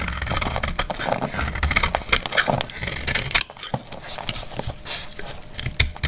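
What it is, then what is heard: Dry soap bar being scraped. A metal utility blade scrapes and cuts a dry, solid, palm-sized brown rectangular household soap bar, shaving off curls and flakes. Dense, crisp scraping is broken up by many short, bright crackles and snaps over a low rumble. The sound drops to a quieter, sparser scraping about halfway through, then picks up with a few sharp cuts near the end.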